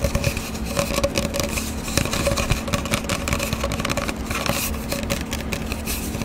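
Long dark-painted nails tap and scratch fast and aggressively on an empty, hollow brown cardboard paper towel tube about 25 cm long, held in both hands. Dense, quick hollow taps mix with dry scratchy rasps over a low, steady hum. The taps die away almost instantly, with no ring.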